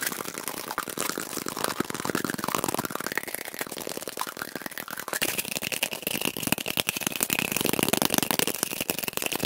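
A cardboard tube is tapped quickly and aggressively, sped up to double speed, giving a dense run of short, dry, papery taps that barely ring. The sound is bright with little low end, and a faint hollow tone rises partway through and then holds steady near 2.5 kHz.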